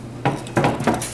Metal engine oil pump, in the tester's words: I picked it up it was rattling and I started banging on the table